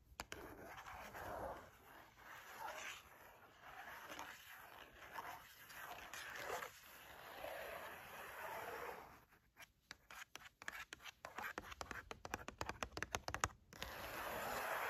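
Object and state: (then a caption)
Cardboard chocolate bar box. Long matte nails scratch across the printed surface of a closed, thin cardboard box holding a flat Lindt milk chocolate bar, making soft rhythmic rasping strokes. Midway they switch to a run of quick, dry, crisp taps on the cardboard, then return to scratching at the end, all at a quiet level.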